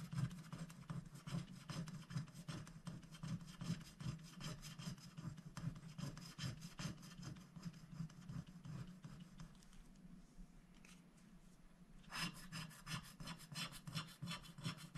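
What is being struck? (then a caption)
Wooden stylus on coated scratch-art paper. A wooden stylus scratches the coating off a flower shape on a black-coated scratch-art paper sticker sheet held flat by one hand, using back-and-forth strokes. Quiet, rapid, gritty rasping strokes with a bright edge repeat steadily over a constant low hum. Around ten seconds they soften to a faint rubbing, then return louder and brighter near twelve seconds.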